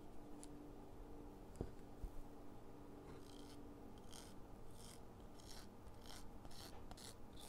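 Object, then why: Chalk stick on a metal foot-file grater. A solid green chalk stick is rubbed back and forth over a purple metal foot-file grater lying on cardboard, throwing off chalk dust. Quiet, repeated rasping scrapes come in short bright bursts over a steady low rumble, with a couple of faint ticks early on.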